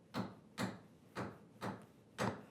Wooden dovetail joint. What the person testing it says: when I tap here listen I get the different sound this one is much tighter now